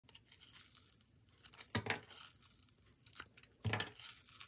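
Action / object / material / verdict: scrape / bar of soap / soap / none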